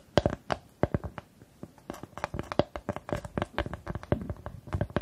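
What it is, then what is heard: Plywood star cut-out. Long nails scratch and tap the surface of a flat, solid, light plywood star cut-out with grooved lines, held in both hands in front of the microphone. Irregular dry, woody clicks and short scrapes come in quick succession, each dying almost instantly with a faint hollow tone around 590 Hz. The sparse early taps give way to a denser patter of scratching.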